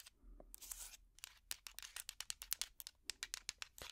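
A hot pad made of small wooden blocks strung together is held up and scratched with fingertips and nails. Soft, bright scraping rasps give way to a quick run of dry, sharp clicks and ticks that die away almost instantly, all at a quiet level with almost no low end.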